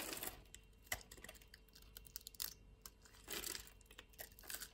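A utility-knife blade cuts and scrapes pre-scored grid flakes off the surface of a solid purple lavender bar soap held in a palm with long nails. Quiet, bright, dry crunches and crisp scratchy clicks come in quick irregular bursts, with a few louder crackling swells between softer scraping.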